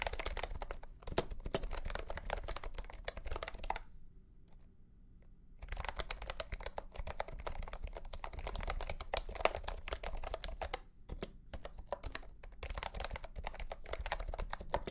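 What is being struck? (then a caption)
Plastic mechanical keyboard with round keycaps. A mint-green retro plastic mechanical keyboard with round plastic keycaps in a hollow plastic case is typed on with the fingertips of both hands. Rapid, clattery key presses run in dense bursts, with a quiet pause of about two seconds near the four-second mark before typing resumes. A few shorter gaps follow toward the end.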